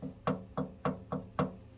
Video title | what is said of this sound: checking if a bike gas tank has been bondoed | it sounds less solid so it sounds more hollow